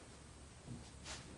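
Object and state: Nothing is struck.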